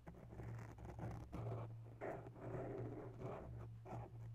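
Bare long nail tips slowly scratch the lower sides of a grey foam microphone windscreen. The result is soft, muffled rustling scratches in repeated strokes over a steady low hum.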